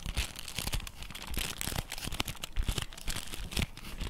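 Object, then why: Flat cardboard box. A flat printed cardboard box from a dark orange Nero Nero chocolate bar is held in both hands while fingertips and nails tap and scratch its surface and edges. Rapid, dry taps with soft low thumps mix with bright, crinkly scratching that stops short with no ring.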